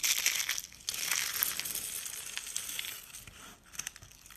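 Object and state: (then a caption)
Dry, brittle soap curls being crushed. Thin, brittle purple dry-soap flakes and rolled curls are crushed in the palm and crumbled with fingers on a countertop. The result is a dense, bright, dry crackling and crunching with almost no low end, loudest at the start and around one second, then thinning out with a few scattered crunches near the end.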